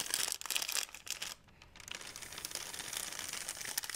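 An empty, thin white plastic Blick shopping bag is held up and crumpled and crinkled with the fingers. Bright, crackly crinkling fills the clip and dips to a brief near-quiet lull just before the middle. A steady, busy rustle then carries through to the end.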